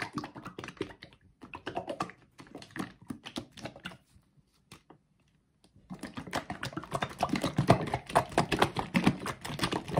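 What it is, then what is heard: Plastic bottle partly filled with thick liquid. A mid-size blue plastic bottle of liquid bath soak, hollow and partly filled with thick liquid, is held in both hands and shaken vigorously. Dense clicking, sloshing rattles come in bursts, fade to near silence for about two seconds in the middle, then return louder and busier to the end.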